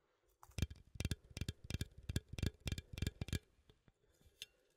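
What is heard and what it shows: A small cylindrical metal coffee tin with a lid, held in one hand, is tapped on the lid and side with fingernails. Quick, dull taps come in an uneven run, each with a low thud and a bright metallic tick that dies away almost at once. The tapping fades to a few faint ticks at the end.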